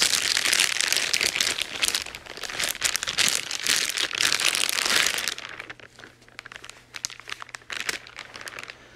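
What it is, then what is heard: Plastic bag crinkling. White-gloved hands crumple and rub the thin clear plastic bag wrapped around a grey cable, with the cardboard Wii U console box on the table. Dense, bright crinkling fills the first five seconds. It then thins to sparser, quieter crackles over a faint steady low hum.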